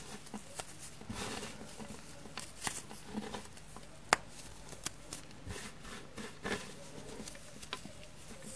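Both hands crush, rub and pinch a pile of small, frozen, dark green floral foam crumbs on a wooden table, pressing them between fingertips and palms. A soft, dry crackling rustle runs throughout, broken by short bright snaps, the sharpest about midway. The crumbs break into finer bits.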